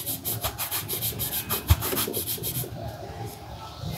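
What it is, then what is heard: Leather boot being buffed with a cloth. A cloth is pulled back and forth around the leather upper of a black leather Dr. Martens boot, worn on a foot on a shoeshine stand. Quick rhythmic rubbing and buffing strokes give a steady, brushy swish with bright, airy bursts. The strokes soften and thin out toward the end.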